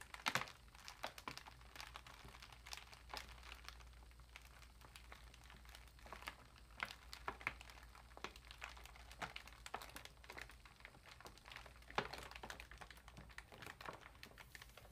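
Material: Foil plastic.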